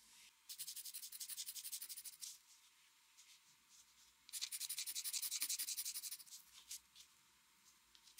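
A metal mechanical pencil draws quick strokes across the upper part of a flat white drawing paper sheet resting on a desk. Two long bursts of rapid, bright, high-pitched scratching are separated by a quiet pause, followed by a few scattered, lighter strokes near the end.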